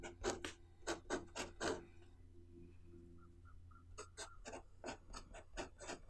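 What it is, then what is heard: Pen writing on a paper notebook page. A blue pen nib scratches across the page of an open white paper notebook on a wooden table while writing Chinese characters. Short, bright, raspy strokes come in quick bursts, with a quieter pause in the middle, over a steady low hum.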